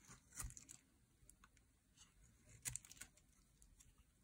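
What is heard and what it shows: A metal utility blade carves and scrapes curls off a solid, dry, bright green bar of soap held in the hand. The sound is quiet and crisp, with short, dry scraping crackles and sharp, bright ticks over a soft low rumble, and the two strongest strokes land near the start and just past the middle.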